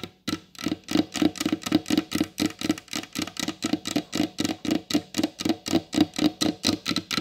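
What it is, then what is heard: Varnished wooden table top. Long blue acrylic nails on both hands tap quickly across the glossy varnished top of a large solid wooden table. About thirty short, dry taps follow in a fast, slightly uneven rhythm, each a hollow knock around 300 Hz with a bright clicking edge from the nails that dies away almost instantly.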